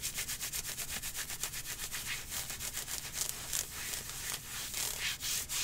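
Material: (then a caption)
Synthetic fabric. Long painted nails scratch vigorously over the ribbed panels of dark green nylon/spandex-like athletic leggings worn on the thigh. The result is a fast, rapidly repeating rasping rub of bright, hissy strokes with a faint low rumble beneath.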